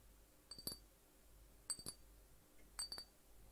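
A small hollow glass juice bottle with an orange and yellow label and a cap, which appears to contain liquid, is held in one hand and tapped near the neck and cap with the fingertips of the other hand. Three quick pairs of light taps each give a short, bright glassy clink with a high ringing tone that fades almost at once, separated by quiet hiss.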